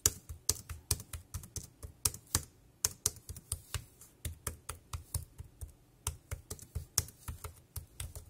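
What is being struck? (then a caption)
Plastic keyboard keys. Fingertips type fast on the round keys of a dark grey plastic wireless keyboard. The result is a rapid, uneven run of short, dry clicks, each with a bright plastic tick and a soft low thud, with brief pauses between bursts.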